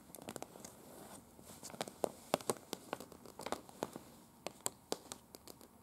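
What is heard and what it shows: Long, pointed dark-red nails on both hands tap and scratch with their tips across a large, unfolded printed paper map of Prague lying flat, a thin paper sheet. A quick, irregular series of sharp, dry clicks mixes with crisp, crinkly scratching and a soft papery rustle underneath. Each tap is bright and dies away almost at once.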